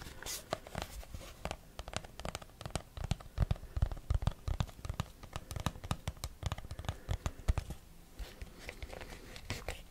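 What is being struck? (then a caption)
Small rigid cardboard box. A small, hollow, rigid white cardboard box is tapped and scratched with short fingernails on its face and edges. Rapid, uneven taps give dull, hollow low thumps with crisp clicks, mixed with soft scratching and rustling.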